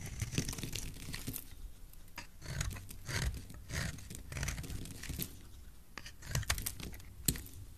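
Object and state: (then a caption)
Bar of soap being carved. A solid blue soap bar held in the hand is carved with a utility knife blade, giving a series of crisp, crunchy scraping and shaving strokes. Bright crackles and soft tearing textures sit over a low, muffled handling rumble, with a few sharper cuts standing out near the end.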